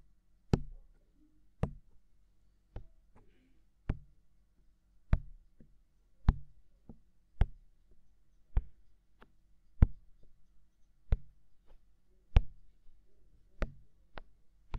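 Fingertips tap repeatedly on the white, ear-shaped silicone capsule cover of a hollow, mounted binaural microphone with a dark body. Fifteen soft, dull knocks fall at a slow, steady pace, each a brief thump heavy in low bass with a quick click on top and almost no ring. Quiet pauses separate the taps.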